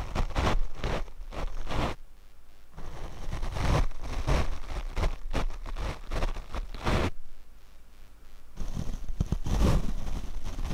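A paint brush is brushed over the black foam windscreen on a Rode microphone. It makes deep, muffled, rustling and scratching strokes in quick bursts, with quieter, softer brushing in two short lulls.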